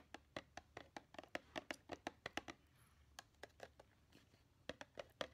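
A small, hollow, blue printed cardboard takeout-style gift box decorated with a snowman and penguin is held in the hand and tapped rapidly with long painted nails. About 23 quick, dry, hollow clicks are heard with a papery mid-pitched body and a bright edge, each dying away almost instantly. The taps come in fast bursts with a brief pause in the middle and a sparser stretch toward the end.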